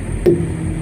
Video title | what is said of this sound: Backing A Semi And Trailer// Dropping And Hooking A Trailer. (Reboot 2017) | make sure you get a good ping out of the tire. You hear that? Yeah. You know, like a tight drum.